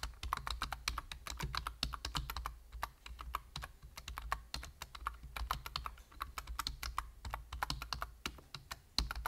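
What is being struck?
Plastic computer keyboard.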